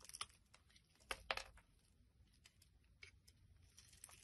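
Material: Soap.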